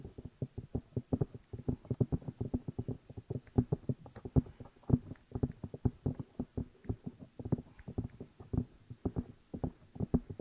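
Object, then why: Silicone binaural microphone ear pieces. Fingertips tap and rub the two hollow rubber or silicone ear pieces of a black binaural microphone while the hands cup them. The result is a rapid, uneven run of dozens of dull, muffled thumps, heavy in the low end, that die away almost instantly, with soft scratchy rubbing between them.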